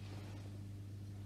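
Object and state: Nothing is struck.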